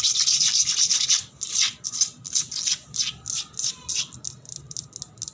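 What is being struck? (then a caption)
Painted concrete floor, wet. Fingernails and fingertips scratch a wet, painted, solid concrete floor with bubbles on it. Fast, dense bursts of bright, hissy scraping run together at first, then break into shorter, separate strokes.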